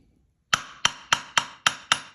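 A steel anvil with a 150-pound magnet stuck under its heel is struck seven times with a hammer after a half-second of silence. Each strike is a sharp, bright clank that dies away quickly, with the ring suppressed so the anvil sounds dead.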